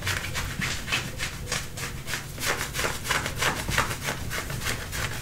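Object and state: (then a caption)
Denim jeans being scratched. Fingernails scratch and rub the front of dark-wash denim jeans being worn. A steady series of quick, brushy strokes, about three per second, with a bright rasping hiss over a soft low rumble.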